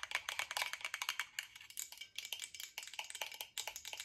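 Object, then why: Glass bottle with metal cap. Long nails tap quickly on a tall glass water bottle with a silver cap, partly filled with liquid, striking both the glass and the cap. The result is a fast run of crisp, bright clicks with a faint high glassy ring that dies almost instantly.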